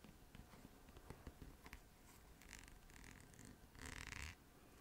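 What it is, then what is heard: Plastic lotion tube. Long nails scratch and tap along a full, gold-brown squeezable plastic lotion tube with a green cap. Quiet, dry clicks and scrapes run throughout, with a brighter, hissing scratch burst near the end.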